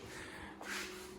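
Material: Nothing is struck.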